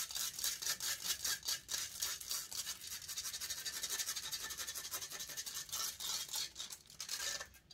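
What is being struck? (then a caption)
Metal mesh microphone grille. Long nails steadily and aggressively scratch the hollow metal mesh grille of a silver condenser microphone. The result is a fast, continuous run of bright, hissy rasping strokes with almost no low end, pulsing in quick bursts before fading out at the end.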